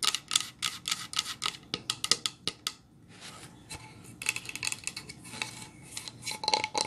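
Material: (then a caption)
Pine wood. Long nails tap and scratch across a painted solid pine plank sign, making a rapid series of sharp, bright clicks that stop almost instantly. The tapping gives way to a quieter stretch of dry scratching, then more bright taps and scrapes as the sign is tilted up.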